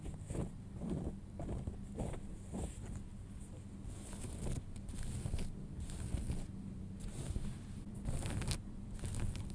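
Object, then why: Denim jeans. Fingernails scratch and fingertips rub the front pocket of folded light-wash denim jeans, making soft, low, dry rasping strokes with faint bright fabric hiss. The strokes come in an uneven series at a quiet, steady level.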